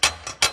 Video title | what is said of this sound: Building The Little Sliver - Ep. 4 - Rigid TS3650 Table Saw Cleaning and Tuning | you can hear that it rattles when I tap this back corner